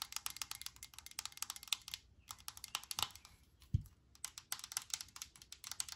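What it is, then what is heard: Aerosol spray can. A hand-held Lysol disinfectant aerosol, a metal can with a plastic cap, is tapped with long nails on the cap and body. The result is rapid, bright, dry clicking taps in quick bursts, with short pauses around two and four seconds. A single duller, low thump falls just before the four-second mark.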